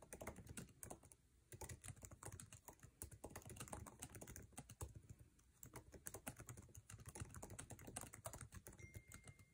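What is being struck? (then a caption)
Laptop keyboard with plastic keycaps. Fingertips of both hands type fast on the backlit, low-profile scissor-switch keyboard of an aluminum MacBook Air resting on a table, tapping its plastic keycaps. The result is a dense stream of sharp, short clicks with a soft low thump under them, a brief lull near 1.2 seconds and again near 5 seconds.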